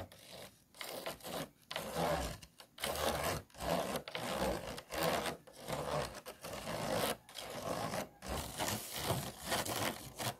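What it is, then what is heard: Empty plastic food container scratched. A tool and fingernails scratch the ridged sides of an empty, hollow, disposable clear plastic food container. The result is irregular bursts of dry, raspy rubbing with a bright hiss and a hollow midrange body, broken by short silent gaps.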